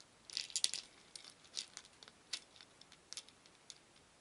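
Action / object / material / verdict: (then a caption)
shake / small wooden beads in a wooden bowl / wood / none. Many small painted wooden beads in a shallow wooden bowl are stirred with a wooden spoon, rattling against each other and the bowl. Quiet, bright, dry clicks and short rattling bursts come in irregular clusters, louder near the start and then sparser.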